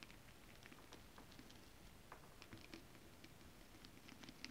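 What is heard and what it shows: Long acrylic nails on both hands tap and scratch across a holographic mermaid scale fabric, a flat iridescent foil scale-print stretch material. The sound is a quiet, steady patter of soft, quick clicks with bright, short ticks above a low, murmuring bed. Each tap dies away almost at once.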